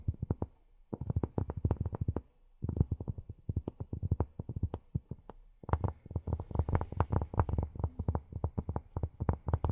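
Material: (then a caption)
Cork. Long nails tap and scratch a large, flat, solid round cork board in rapid bursts of dull, low thuds with brief pauses between runs. Each tap stops almost instantly, with a faint scratchy texture between the taps.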